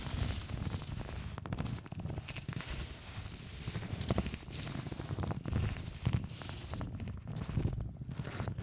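A thin white folded sheet of paper is held in both hands while fingers crinkle, crumple and rub it, then smooth it flat. A steady stream of dense, close crackling and rustling is heard, with low weight and only faint brightness, swelling and easing in level without clear gaps.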